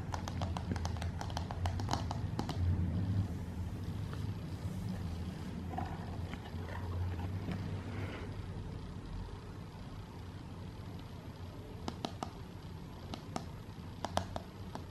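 Long painted nails tap the lid of a closed, hollow grey rigid paperboard gift box with a dark heart emblem while it rests on a bed or is held. Quick, light, dry clicks come in clusters at the start and again near the end, over a steady low hum.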